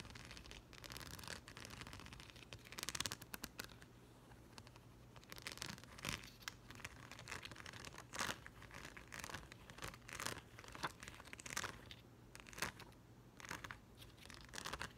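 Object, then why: Plastic rhinestone sticker sheet. Fingertips and short nails rake and tap across the rows of gems on a thin, flat, yellow plastic rhinestone sticker sheet. The result is bright, crinkly, scratchy bursts mixed with quick, dry clicks. A faint steady low hum runs underneath throughout.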